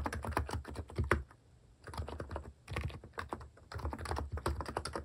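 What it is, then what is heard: Keyboard with plastic keycaps being typed on. Fingertips type steadily on a mechanical keyboard with plastic keycaps, producing quick, dull clacks with a low thump. The typing comes in three bursts separated by brief pauses, and each keystroke dies out almost instantly.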